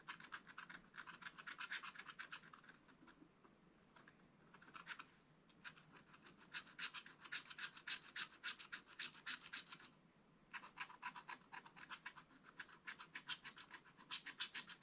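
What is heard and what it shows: A wooden stylus scratches details into a fish drawing on the black wax-coated page of a spiral scratch-art book while the other hand holds the book. The sound is a quick, bright, dry scratching in short, fairly steady strokes, with brief pauses near 3, 5 and 10 seconds.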